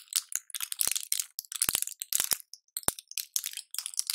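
A small flat blister pack of colorful pills or candies, with clear plastic bubbles on a foil backing, is held in both latex-gloved hands and squeezed and crinkled close to the microphone. Bright, dense crunching and crackling of the plastic blisters comes in quick bursts, with a few sharp pops cutting through.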